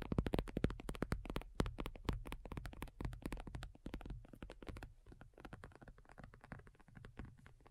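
Long nails on both hands tap rapidly across a black folding faux leather iPad cover lying flat, its thin, hollow-backed surface giving dull low thumps with a crisp, clicky edge. The taps come in quick, uneven bursts, loudest at the start, then settling into softer, steady patter.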